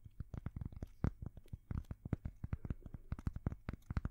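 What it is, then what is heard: Cork coaster. A thin, solid, square cork coaster is held at the microphones and scratched and tapped with long fingernails. A rapid, uneven run of close, muffled taps and scratches follows, mostly deep and thumpy with brief brighter flicks at the tops of the strokes. Each tap dies away almost at once.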